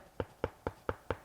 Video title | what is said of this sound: On Cloudboom Strike Review | it's actually quite solid. There's not much give in it, and there's not any padding there either.